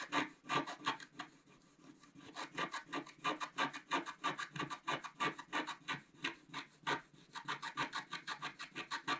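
A wooden stylus scratches the coating off a flat, thin scratch-art paper sheet on a white table while fingertips hold it steady. Quiet, dry, raspy scrapes come in repeated short strokes, about three per second, with a bright, papery texture and almost no low end.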